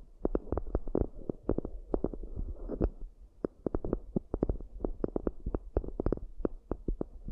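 Long acrylic nails and fingertips tap and scratch the raised rims and inner surfaces of two round, shallow, hollow cork coasters, with both hands staying on the coasters throughout. Quick, uneven runs of dull, hollow clicks sit over a low, muffled thump and a soft scratchy rustle. Each tap dies away almost instantly with no ring.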